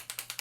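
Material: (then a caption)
Plastic. A Rimmel London Shake It Fresh Clump Free Volume mascara, a plastic tube shaped like a little martini shaker, is shaken as it is meant to be, to revitalize the formula and make it wetter. Something loose inside rattles in four quick, bright clicks.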